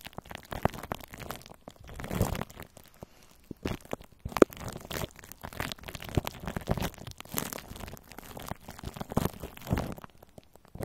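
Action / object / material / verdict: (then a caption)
scrape / plastic cling film over a metal microphone grille / plastic film / none. Clear plastic cling film wrapped over the hollow metal mesh grille of a large round microphone head is scratched and rubbed by both hands with long orange nails. Close, dense crinkling and crunching scrapes come in uneven bursts with short gaps, full and low-heavy with little brightness.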